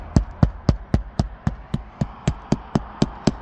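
A shingled roof is tapped 13 times in a steady rhythm to find a truss or solid wood behind the sheathing and shingles before nailing in a gutter-cleaning anchor. Each tap is a short, dull, low thud with almost no ring. The spot sounds solid, marking where the anchor can be nailed.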